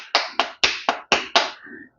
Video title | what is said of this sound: ઉતરાયણમાટે વણવાની ઝંઝટ વગર પાપડ જેવી તલની ચીકી બનાવવાની રીત / Tal Ni Chiki / Til Chiki / ચીકી/ chiki | you can also hear the sound of how crispy the chickee has become